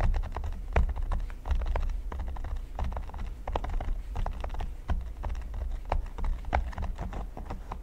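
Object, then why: Silicone pyramid mat. Fingernails scratch and fingertips tap across a flat, solid red silicone pyramid mat. The result is a dense, irregular stream of short, dull taps and scratchy clicks with a heavy low thump underneath.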